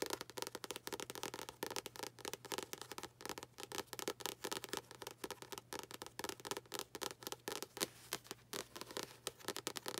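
A paperback book with a paper cover, held close, is tapped rapidly on its front cover and spine with long acrylic nails. The result is a steady stream of dry, crisp clicks with a bright edge and almost no ring, over a faint low hum.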